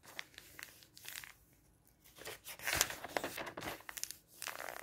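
Fingertips rub across the pages of an open, thin glossy paper magazine lying flat on a table and flip them over. The result is crinkly, bright paper sounds: quiet dry rustles and short crisp snaps, with a louder swell of crackling page turns in the middle.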